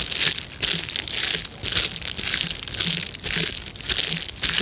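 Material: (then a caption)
Plastic. Both hands press and crush the bubbles of a clear plastic bubble wrap sheet with their fingertips. The result is a series of bright, crackling crinkle bursts with quick pops, arriving in uneven waves with almost no low end.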